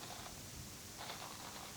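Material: Nothing is struck.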